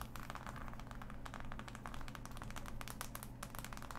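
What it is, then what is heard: Cardboard jigsaw puzzle. Fingertips and long nails scratch and tap across the pieces of a large, flat, assembled cardboard jigsaw puzzle. Quick, dry clicks and scrapes come in a dense, uneven stream with almost no ring, over a steady low hum.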